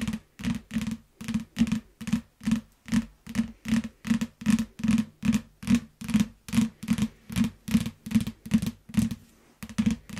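Long nails and fingertips tap and scratch the glossy cover and spine edge of a closed, solid yellow hardcover paper book lying flat. Quick, steady bursts of dull, low-pitched tapping come in close pairs, each with a brief scratchy brightness and almost no ring.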